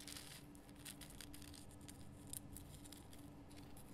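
Long fingernails scratch the rough crystal surface of a large pink Himalayan rock salt lamp, producing quiet, bright, dry scratching and ticking bursts. A steady low hum runs underneath the whole clip.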